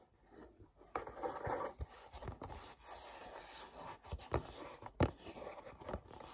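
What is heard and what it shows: Fingertips rub and grip a small, hollow, printed paperboard mochi box, first on the back label side and then on the front. Soft, dry, scratchy friction and faint crinkling alternate with short, sharp gripping clicks that stop dead with no ring. The sound is quiet and muffled, sitting mostly in the low and middle range.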